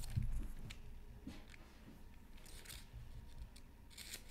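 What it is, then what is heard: Scratch art paper sheet. A bamboo stylus makes crisp scratching strokes across a flat black-coated scratch art card from a Mythical Creatures Super Scratch Art Pad, while the other hand holds tracing paper. A low thump opens the clip, followed by quiet, irregular scratches with bright, hissy bursts of high texture.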